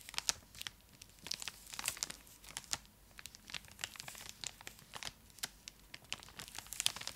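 A full, large purple Cadbury Dairy Milk block in a foil-lined plastic wrapper is held in both hands and scratched with long acrylic nails, crinkling the wrapper. Quick, bright crackles and sharp ticks come in irregular bursts with almost no low end, and each snap dies away at once.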